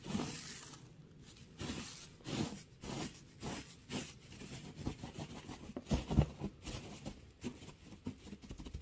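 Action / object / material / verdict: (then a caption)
scrape / pile of wood shavings / wood / none. Fingertips rustle and scratch through a pile of curly pale wood shavings. Soft, dry crackling bursts come in uneven waves, with bright scratchy hiss over low, muffled thumps. The overall level stays quiet.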